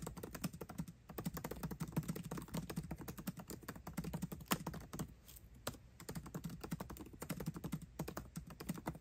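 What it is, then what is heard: Laptop keyboard with plastic keys. Both hands type fast with their fingertips on a 13-inch aluminium MacBook Pro laptop keyboard with backlit black plastic keycaps, tapping the keys continuously. The result is a dense, rapid stream of short, soft key clicks with a low, muted thump, broken by a few brief pauses.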